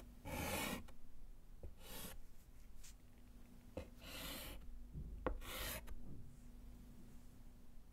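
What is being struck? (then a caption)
Chalk on a wooden-framed slate chalkboard. A gloved hand writes a second word in white chalk on a small wooden-framed slate chalkboard resting on a table. Bursts of bright, rasping scratches alternate with short taps and pauses.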